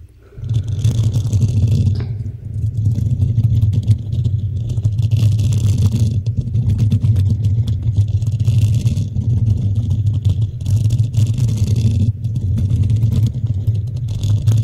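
Fingertips and long nails of both hands scratch the hollow black metal mesh grille of a desktop microphone. The result is a steady, deep rumbling scrape centered around 90 Hz. Bursts of bright, airy scratching come and go over it.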